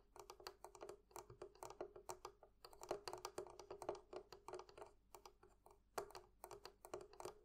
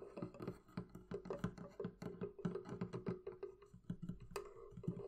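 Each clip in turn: First: Rapid light fingertip taps on metal fittings, short clicky hits with a steady mid tone near 400 Hz. Second: Quick runs of dull, low wooden taps on a barrel chest, each dying almost at once.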